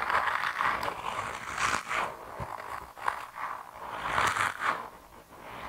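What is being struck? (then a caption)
Soft rubber mouse toy. A hand-sized grey rubber mouse toy, soft, solid and flexible, is squeezed and twisted between thumbs and fingertips. It makes rubbery squeaks and scraping rubs, centred around 1 kHz with brighter bursts. The sound swells and fades irregularly as the grip shifts.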